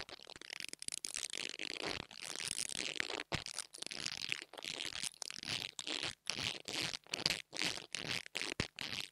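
An interdental brush scratches the top of the metal grille on a small black plastic mini lavalier microphone. Dry, bright, crackly scratching comes in quick, repeated bursts with brief gaps between strokes, almost no low end, and no ring after each stroke.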